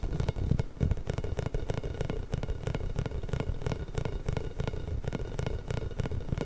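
A large pink, inflated, hollow rubber massage ball with small spikes is rubbed and tapped with fingertips and nails, then moved to the side of the mic. The result is a steady, irregular patter of quick, dull, low-heavy thumps and scratchy rubs that die away almost instantly, with little high-end content.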